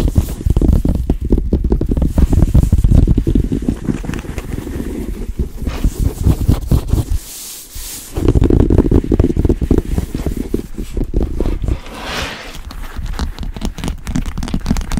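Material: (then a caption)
Leather. Long pink nails on both hands quickly tap and scratch across the flat, smooth back panel of a large black Kurt Geiger XXL Kensington leather handbag lying on a table, its hollow body thumping back. The result is a dense, irregular stream of dull, low, boomy taps mixed with soft scratchy rustling, with a brief quieter scratching stretch around the middle.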